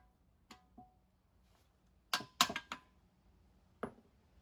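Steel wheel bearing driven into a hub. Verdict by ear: Not seated.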